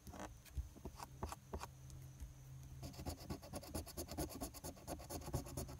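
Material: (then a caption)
Paper. A large silver coin scratches the latex coating on a flat paper lottery scratch-off ticket (#028) with fast, dense strokes. A few separate, bright rasping scrapes come first, then after about three seconds the scratching turns into a rapid, continuous run of short strokes over a steady low hum.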